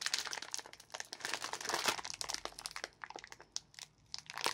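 Gloved fingertips tear and crinkle the top edge of a small orange printed plastic film packet of Asda Mini Jelly Babies, full of sweets. The packet gives off dense, bright crinkling with sharp little crackles and tearing snaps, thin with no low end. The crackles come in quick bursts, ending in a sparse pause and a final rustle.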